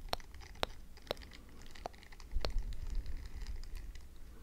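Long dark nails tap and scratch a small, solid, round white-and-pink silicone facial scrubber pad with a textured bristle surface while it is held up. A few sharp, clicky taps stand out over soft, continuous crinkly scratching and a low rumble, rising to a louder scratchy patch near the middle.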